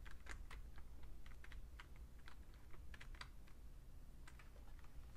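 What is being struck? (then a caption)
Plastic computer keyboard. Fingertips type steadily on the plastic keys of a vintage beige Fujitsu Siemens full-size computer keyboard. The quick, bright key clicks come in an uneven rhythm over a constant low hum, and the whole clip stays quiet.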